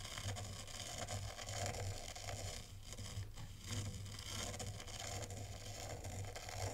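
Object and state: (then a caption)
White sand being raked. A black zen-garden rake sweeps across a tray of fine white sand, scraping the grains in curves. The result is a steady, gritty, crunchy scrape with bright, hissy texture over a constant low hum, dipping briefly in the middle before continuing.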